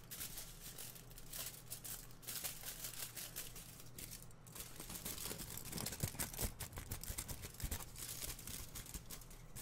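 A large crumpled sheet of thin aluminium foil is held up close and squeezed, crumpled and crinkled by both hands. Dense, bright crackling and rustling run throughout over a steady low hum, with many quick sharp crinkles.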